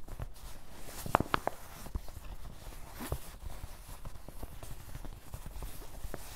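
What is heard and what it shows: Fingertips of both hands tap across the top of a soft, hollow, dark grey canvas cloth fanny pack resting on a table. The result is a steady stream of quiet, muffled, low thuds with almost no brightness, broken early by a short burst of sharper taps that carry a brief hollow tone around 770 Hz.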